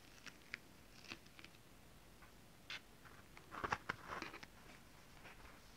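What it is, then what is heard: Holographic scale-printed fabric. Long nails tap and scratch on a close-up of holographic mermaid-scale printed fabric. Quiet, crisp clicks and short scratchy brushes are scattered over low background hiss, bunching into a busier run of taps near the end, where one hand comes in.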